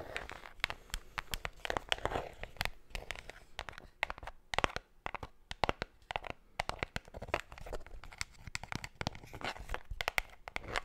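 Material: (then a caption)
Cardboard. A closed, hollow, small white cardboard Pandora jewelry box is scratched and tapped with long black nails close to the mic. Rapid, irregular dry taps and clicks mix with crisp scratching and crinkling that reaches bright highs. Each hit stops dead with no ring.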